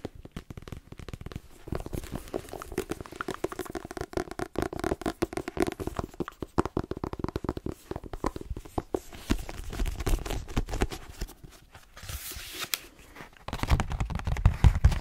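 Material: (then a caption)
Paper. Fingernails tap rapidly on the glossy cover of a solid paperback book, then on its page edges once the book is opened. The sound is a dense run of short, dry, crisp clicks with a dull low thump beneath them. Softer crinkling, scratch-like passages are interspersed, and the tapping grows louder and heavier near the end.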